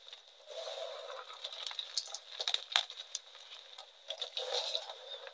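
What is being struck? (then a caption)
Gym chalk pieces crushed by hand. A pile of crumbled, reformed gym chalk dyed pink sits on a metal tray while both hands squeeze and crush the small solid pieces between the fingers. The result is a dry, crunchy crumbling with dense clusters of sharp, very short crackles. The sound is bright and thin with no low end, over a faint steady tone around 3.5 kHz.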